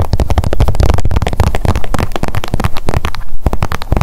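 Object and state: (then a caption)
Plastic squeeze tube tapped with nails. Long nails tap rapidly on a blue plastic sunscreen squeeze tube held in the hands. The taps form a dense, continuous patter of dull, low thumps with almost no bright content, each dying away quickly.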